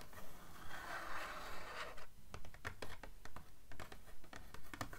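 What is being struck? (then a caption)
Paperback book page edges (paper). Long nails scratch and riffle along the paper page edges of a blue paperback book held on its spine. A steady, continuous scratching for the first two seconds gives way to a quick run of soft, rhythmic flicks and ticks, centered around 1.5 kHz with some bright crackle.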